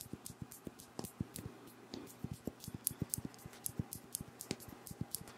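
Fingernails tap and scratch close-up on a pink Versace Bright Crystal perfume bottle, a hand-sized faceted glass bottle with a crystal-style cap, filled with pink liquid. Quick, irregular clicks with bright glassy ticks sound over a soft low thump, with scratchy friction between the taps.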